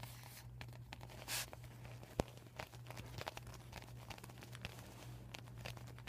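Fingertips with short painted nails scratch and crinkle a deflated, flat, empty PVC vinyl beach ball with white and yellow panels written on in marker, lying on a table. Quiet, dry crinkles and scratches are heard over a steady low hum, with a brief brighter rustle and one sharp, louder tap-like click.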